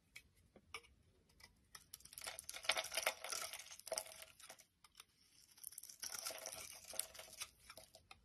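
A palm-sized, solid, translucent brown bar of soap is held in the hand and shaved with a utility knife blade, curls falling off. Scattered quiet ticks give way to two longer stretches of dry, crinkly scraping that are bright and hissy, with almost no low end. Each stroke stops dead with no ring.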